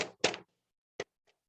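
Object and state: Hollow plywood partition wall.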